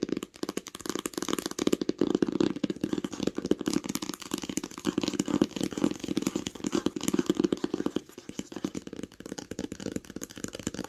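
Long acrylic nails tap fast on the cover and near the edge of a large, smooth green hardcover book lying flat on a blanket. The dense, rapid clicking taps have dull, hollow body centered in the low-mids around 320 Hz with almost no ring, and the tapping briefly thins around the eight-second mark before continuing.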